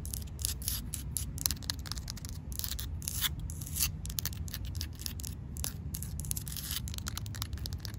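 Fingertips and nails rub, scratch and tap on a rough, solid grey outdoor concrete slab. Dense bursts of dry, bright scratching and short, sharp taps sit over a steady low rumble.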